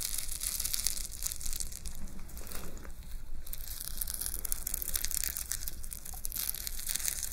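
A gold-tone metal chain pauldron, a shoulder ornament with chain fringe hanging under rhinestone-studded metal plates, is held up close in one hand while long nails scratch and rustle through the chains. A continuous bright, crinkly metallic rustling and jingling runs the whole clip with no pauses.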